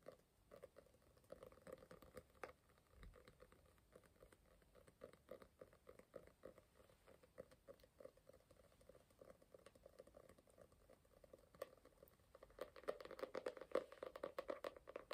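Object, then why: Foil-printed cardboard hardcover notebook cover. Quick fingertip and nail tapping on the cover of a closed, medium foil-printed cardboard hardcover notebook with a grey cover and a foil butterfly print, held up. The soft, dry taps patter in an uneven stream with a mid-pitched tone near 500 Hz. They grow louder and brighter near the end as the notebook is held close to the face.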